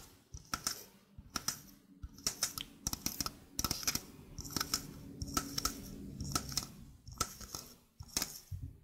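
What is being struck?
Small stainless steel mesh sink strainer.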